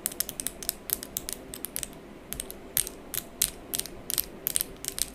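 Long pink coffin-shaped acrylic press-on nails, small hollow-backed plastic tips, are clicked and tapped against each other fast while held in front of the face away from the mic. Rapid, irregular bursts of sharp, bright plastic clicks come over a quiet low background hiss. Each click is dry and stops almost at once, with no ring.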